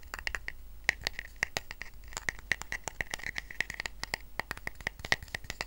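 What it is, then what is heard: Woven rattan coaster. Fingertips and short nails scratch the weave of a small, round, flat woven rattan coaster resting on a blanket. Quick, dry scratching clicks come in an uneven, rapid stream, each with a bright, papery edge and a slight ring near 1.9 kHz. The clicks die away almost instantly over a low, quiet background hush.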